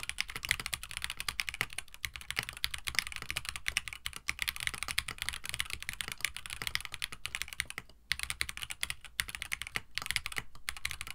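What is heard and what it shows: A compact 65% KBD67 Lite mechanical keyboard with Gateron CJ switches, an FR4 plate, a white plastic case and blue-and-white PBT keycaps is typed on continuously with both hands' fingertips while it rests on a desk mat. It makes a dense, rapid stream of short, bright, clacky keystrokes with a soft low thock underneath. The keystrokes die away almost instantly, with brief pauses around the fourth and eighth seconds.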